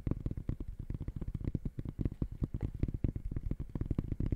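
Fingertips tap rapidly on the side of the synthetic mesh upper of an empty gray high-top sneaker held close by. The result is a fast, uneven run of dull, low thumps with very short decay and almost no bright content.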